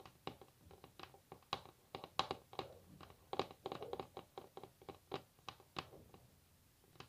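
Long natural nails rapidly tap a solid varnished wooden tabletop, making about two dozen quiet, dry clicks at an uneven pace. Each click is sharp and midrange with a bright edge, and it dies away almost at once with no ring. Brief clusters of quick taps blur into a soft patter between the separate clicks.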